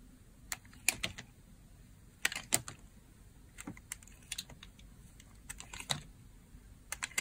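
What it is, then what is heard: Dry bar soap. A utility blade cuts strips from the edge of a hand-held white solid bar of dry soap. An irregular series of short, crisp, bright crunching clicks comes through with quiet gaps between them, each snap dying away almost instantly over a faint low rumble.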